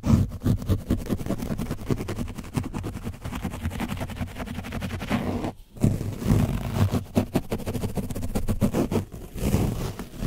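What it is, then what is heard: Paint-coated foam mic windscreen being brushed. A foam sponge brush on a wooden stick vigorously scratches and brushes an orange foam windscreen covered in dried paint on a black microphone. The soft, porous, hollow windscreen gives a dense run of rapid, low, muffled scraping strokes with little brightness. The strokes pause briefly just past the midpoint, then resume just as hard.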